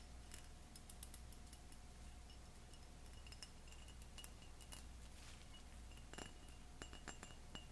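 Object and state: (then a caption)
Cut glass tumbler. A tall, clear pressed or cut glass drinking tumbler, hollow, empty and wet with suds, is held in both hands over a stainless sink and tapped with painted fingernails and fingertips. Irregular, quiet, bright glassy clinks ring briefly over a steady low hum, with a few sharper taps clustered near the end.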